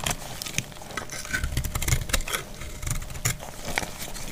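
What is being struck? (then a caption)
Soap bar scraped with a knife blade. A utility knife blade scrapes and cuts a solid, dried white soap bar held in the hand, and chalky flakes fall away. The result is a steady run of dry, crumbly scrapes and sharp little crunches with bright clicky edges, over a soft low rumble.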